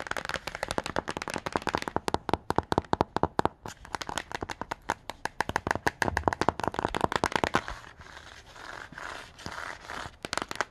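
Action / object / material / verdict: tap / glossy cardboard hardcover book cover / cardboard / none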